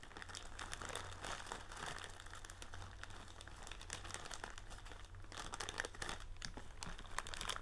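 A large blue plastic film bag, partly filled with metal-cup tealight candles, is held up and squeezed and crinkled by hand. It makes a steady, dense crackle of crinkling with bright, sharp snaps over a low, constant hum. The crinkling swells slightly louder toward the end.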